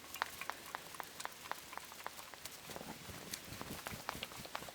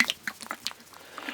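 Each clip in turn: First: can of macaroni and cheese with thick, solid contents. Second: tinned macaroni cheese with runny, liquid sauce.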